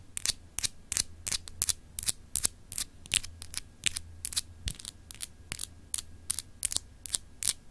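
Long acrylic nail tips scratch across a palm-sized solid clear glass globe paperweight with raised etched continents. The result is a rapid, uneven series of short, bright, scratchy bursts that stop almost instantly, over a steady low hum.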